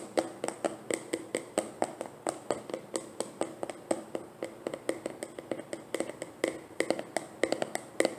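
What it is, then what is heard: Full plastic jar. A medium white plastic leave-in conditioner jar with an orange label, filled, is held and tapped with long dark painted nails. About forty quick, dry, clicky taps land in an uneven rhythm, each with a hollow mid-pitched tone that dies away almost instantly.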